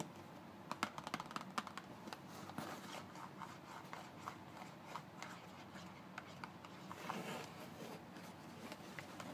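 A closed, thin paperboard toothpaste carton is turned onto its side and end while fingertips and short nails tap and scratch its narrow faces. Quiet, dry, papery clicks come in quick irregular bursts over a soft scratchy rustle. Each tap dies away almost at once.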